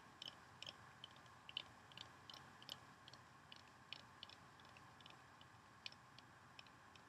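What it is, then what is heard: Bar of soap. Long nails tap and scratch the surface of a solid pale green oval bar of soap held in the hand over a bowl. About twenty quick, bright, high clicks with no ring-out are spread across the clip. A faint, steady hiss sits underneath.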